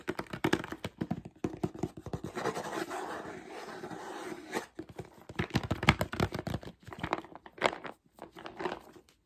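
A clear plastic jar with a black ridged screw lid and a label, full of mixed nuts, is held in hand while fingertips and short nails tap and scratch its lid and sides. Quick, dry tapping gives way to a steady scratchy rasp for a couple of seconds, followed by more bursts of fast taps and scratches.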